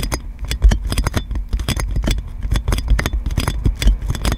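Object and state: Cling film wrapped on a microphone, scratched and tapped.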